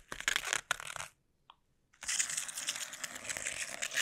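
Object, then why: Plastic bubble wrap sheet. Fingertips wrapped in sticky tape press, scratch and peel across a flat sheet of clear plastic bubble wrap laid on a table, while long nails brush the surface. Bright, crackly scratching and sticky tearing fill the first second, then near silence with a single faint tick. The dense, bright crackling resumes and continues steadily to the end.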